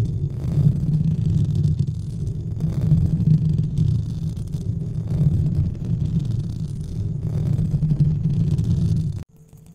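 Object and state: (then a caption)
Foam microphone windscreen being rubbed. Fingertips of both hands rub and scratch a white textured foam or fabric windscreen covering a large studio microphone. The result is a dense, continuous low rumbling and scuffing that swells slightly in faint waves. It cuts off abruptly near the end, leaving a quiet hum.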